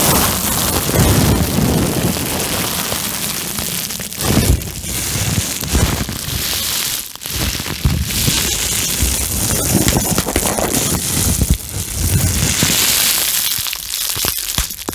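Clear plastic bubble wrap is held close to the mic and crumpled and crinkled between both hands with fingertips and nails. The result is a dense, continuous crackling and rustling with bright crisp edges over a heavy low rumble from close handling. It rises and falls in brief surges throughout.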